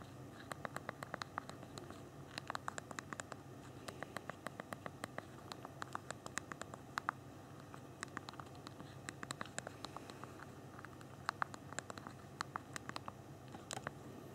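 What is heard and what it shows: Thumbs typing a long message on the physical plastic QWERTY keyboard of a small BlackBerry Q10 phone held in the hands. Quick, dry clicks come in bursts, each short and snappy with a bright edge, over a faint low hiss. The keys patter irregularly with brief pauses between runs.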